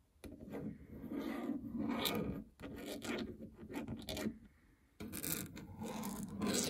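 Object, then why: Plastic treadmill keypad and housing. Fingernails scratch and rub the plastic membrane keypad buttons of a treadmill control panel with a hollow housing. The result is a dry, raspy scratching in three continuous stretches separated by brief quiet gaps, mostly mid-toned with occasional bright, sharp flicks.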